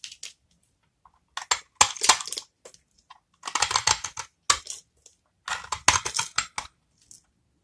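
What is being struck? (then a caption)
Soap bar scraped with a metal blade. A small, solid, rectangular bar of dry brown soap is held in the hand and scraped with the metal blade of a utility knife, shaving off crunchy flakes. The clip is a series of short, bright, dry scraping crunches in irregular bursts, with clusters of quick strokes separated by brief pauses and almost no low end or ring.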